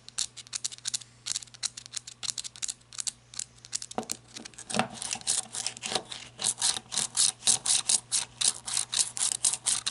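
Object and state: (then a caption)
Flashlight body scratched with fingernails. Long red nails scratch the ribbed grip and tail ridges of a black matte flashlight (plastic or coated metal), first held tilted and then standing upright. Quick, bright, dry scratching strokes come in a fast, uneven rhythm over a faint steady low hum, growing louder and denser in the second half.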